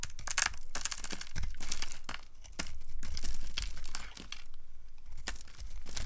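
A small blade with a yellow handle scrapes and carves curls and flakes off a solid, rounded, dry pink soap bar held in a hand with long dark nails. The clip is full of dry, crisp scraping and crunching strokes with a bright, high hiss, rising and falling in steady waves over a faint low rumble.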